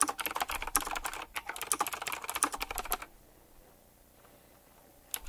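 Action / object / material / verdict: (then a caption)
tap / mechanical keyboard with round plastic keycaps and metal rims / plastic / none. Fingertips type quickly on a retro typewriter-style mechanical keyboard with round plastic keycaps and chrome metal rims, producing a dense run of sharp, bright clacks. The typing stops after about three seconds, leaving near silence, and a few more keystrokes return at the very end.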